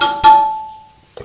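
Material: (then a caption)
Steel. A loose steel spoke on a BMW GS/A motorcycle wheel, marked with tape, is tapped. It gives a dull, short thud with a faint tone near 870 Hz, which means the spoke has too little tension.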